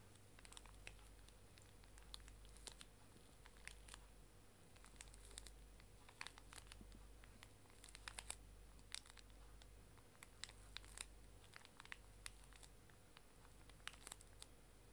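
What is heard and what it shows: A small, full, pink pocket tissue pack wrapped in thin plastic film is held upright while its wrapper is crinkled and scratched with long dark nails. Quiet, steady crinkling is broken by many sharp, bright crackles and ticks that die away almost instantly. A low, constant hum runs underneath throughout.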